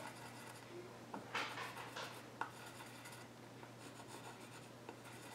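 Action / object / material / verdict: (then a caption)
scrape / pencil scratching on a wooden stool top / wood / none. A graphite pencil tip scratches sketch lines across the flat top of a solid, reddish-brown wooden child's stool with visible grain. Soft, bright scratching and rubbing strokes are heard, with four sharper tick-like peaks standing out over a steady low hum.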